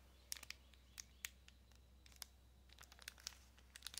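A small clear plastic packaging bag holding a card of pink press-on nails is crinkled and tapped with long nails. The result is a quiet string of sharp, bright clicks and crinkles spread unevenly over a soft, steady low hum.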